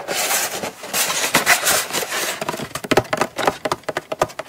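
Long almond-shaped acrylic nails scratch across the lid and edges of a small, hollow brown kraft cardboard Coach gift box held in both hands, making a dry, bright, continuous rasp. The scratching then gives way to a quick series of crisp, hollow taps on the lid, each one short with almost no ring.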